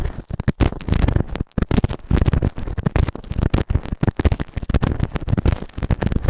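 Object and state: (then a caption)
Silicone ear microphone being scraped. A white plastic ear tool, held in the fingertips, scrapes inside the right ear canal of a soft, solid grey silicone ear-shaped microphone on a round base. It produces dense, rapid scratching and rubbing with short gaps, heard close and as a heavy low rumble with very little high sound.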